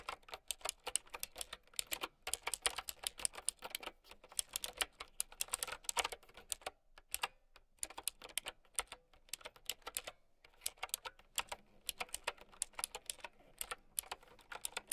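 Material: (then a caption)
Plastic. A mint-green typewriter-style mechanical keyboard with round plastic keycaps is typed on with long nails and fingertips. Rapid bursts of bright, sharp clicks come with almost no ring, broken by short pauses near the middle of the clip.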